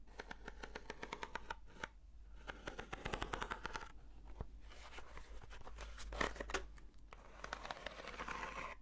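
Long nails slowly scratch a long, hollow, textured corrugated cardboard box, held upright and then horizontally. The result is soft, papery rasping and dense runs of quick dry ticks over a faint steady low hum, with a louder scraping burst near the six-second mark before the strokes settle again.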